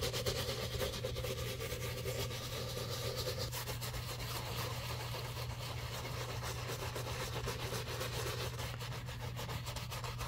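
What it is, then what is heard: Leather shoe being scrubbed with a brush. A wooden-handled bristle brush scrubs the side and heel of a hollow, empty black leather shoe covered in soap. A steady wet rubbing and bristly scratching runs throughout, with a constant low hum underneath and bright hiss on top.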